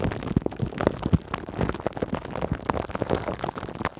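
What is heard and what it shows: Long acrylic nails scratch and rub clear cling film stretched over a metal mesh microphone grille. The result is a dense, close, muffled crinkling and scratching with many short, dry taps, heavy in the low end and with little high brightness.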